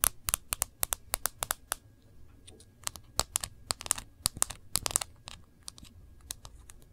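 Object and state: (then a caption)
Smartphone glass screen tapped with nails. Long fingernail tips tap quickly on the black glass screen and edge of an iPhone in a case, held sideways with the screen facing forward. A rapid, uneven run of sharp, bright clicks sounds like typing, with quieter scratchy touches between the louder taps.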